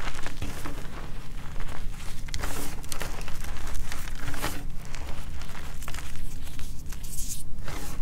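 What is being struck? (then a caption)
Loose pile of gym chalk powder with small chunks. Bare hands scoop, squeeze and crush a loose pile of white gym chalk powder with small crumbly chunks, then rake through it with the fingers. The result is a steady, dense crunching and crinkling with soft, gritty crumbles and a low, muffled body throughout.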